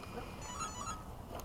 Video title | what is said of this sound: F-16 Radar passes at Bayside | it sounds like metal. Carbon fiber.